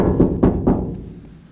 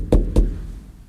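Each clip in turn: First: bare steel truck cab panel, resonant (no sound deadening). Second: muted, sound-deadened truck cab floor.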